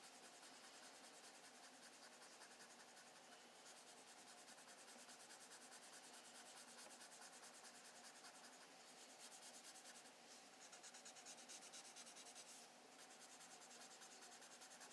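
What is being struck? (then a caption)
Graphite pencil on paper sketchbook page. A graphite pencil held in the fingertips shades and rubs in short strokes across a pencil portrait on a flat sheet of spiral-bound recycled sketch paper resting on a pad, while the other hand holds the page. The result is a quiet, continuous, bright scratchy hiss that swells slightly in the later strokes, with a faint steady tone around 770 Hz underneath.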